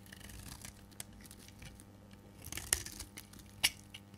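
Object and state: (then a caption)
Dry bar soap being shaved. A hand-held solid dark green dry bar of soap is shaved with a metal blade into thick curls. A quiet, bright, crackly scraping runs throughout, with two sharper, louder cutting snaps near the end.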